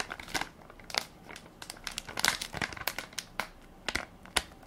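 Fingertips and nails press and crinkle the plastic film of a hand-sized Equate baby wipes soft pack, full of wipes and held in one palm. Quick, bright crinkles and crackles come in uneven bursts with brief pauses between them, each dying away almost instantly with very little low end.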